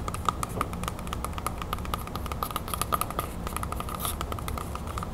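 Long nails tap fast on the skin of a whole, solid red apple held in one hand. The rapid, dry clicks carry a faint ringing tone near 1.2 kHz and die away almost at once, over a steady low rumble.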